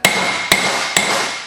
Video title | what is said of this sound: How to Repair a Wheel Bearing | you hear the solid sound you're usually in